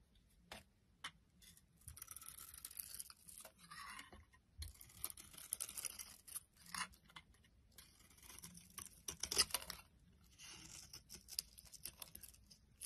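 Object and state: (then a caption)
Bar of soap being shaved with a blade. A hand-sized, solid red Cindy bar of soap with a white interior is held in the hand while a metal utility blade scrapes and shaves its surface, and flakes fall off. Quiet, bright, crackly scraping strokes come in bursts separated by brief near-silent pauses.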